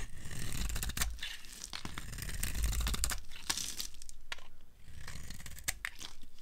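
A steel blade scrapes along the edge of a solid, dry white soap bar held in the hand, carving off crumbly curls. Dry, crunchy scraping and crackling come in irregular bursts with sharp, bright ticks. There is a brief quiet dip near the middle before the scraping resumes.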